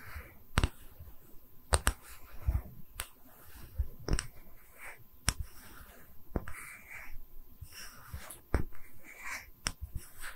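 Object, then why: Small round wooden slab. Long red nails tap and scratch a small, round, solid wooden tree-slice stand held in both hands. About ten short, dry taps with almost no ring stand out above the quieter, soft scratching between them.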